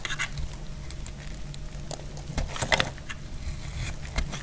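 A solid, dry yellow soap bar held in the hand is shaved into strips with a metal utility blade. Short, dry, crisp scrapes and crackles with a bright edge come in quick bursts over a steady low rumble, with a sharper cluster of cuts near the middle.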